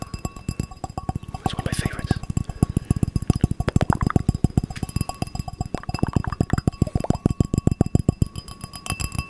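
A small, empty drinking glass of clear glass with a gold rim is held and turned close to the mic while fingertips and nails tap it. A rapid, steady run of dozens of short, dull taps sits mostly in the low range, with brief brighter clinks and a faint rustle now and then. Each tap dies away almost at once.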